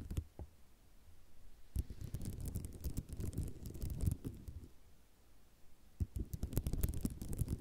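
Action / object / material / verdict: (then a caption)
scrape / ceramic mosaic tile sheet / ceramic / none. Long nails scratch back and forth over a white ceramic mosaic tile sheet. A dense, low rubbing texture is broken by sharp, bright clicks. The scraping swells around two and four seconds and again from six seconds to the end.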